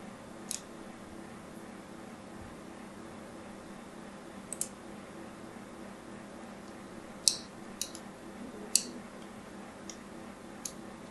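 A thin needle tool, held by a hand with long nails, scratches and scores along the edge of a solid, white, hand-sized bar of soap with an embossed brand. Eight short, bright, crisp scrapes stand out at irregular intervals over a steady low background hum, each dying away almost at once.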